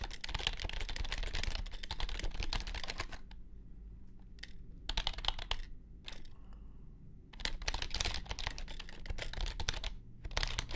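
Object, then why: Plastic computer keyboard. A compact white plastic keyboard resting on a grey mat is typed on with fingertips, giving dense bursts of quick, bright clicky keystrokes. The bursts are broken by short pauses at about 3–5 seconds and again around 6–7 seconds, where only a low background rumble remains.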